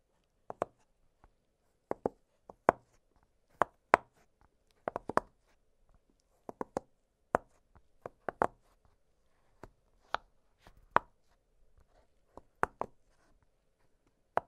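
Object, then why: Silicone push-pop fidget toy. An octagonal blue silicone push-pop fidget toy has its bubbles popped with fingertips, giving a string of short, dry, knock-like pops. The pops come at an uneven pace across the clip, each sharp and quickly damped, with a midrange snap around 1 kHz.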